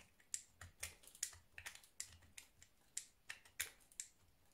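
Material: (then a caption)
Soap. A scored, round orange soap bar held in the hand is shaved and cut across its surface with a blue utility knife. About fourteen short, crisp, bright scrapes and cuts follow one another quickly, each dying away almost at once, at a quiet level with little low end.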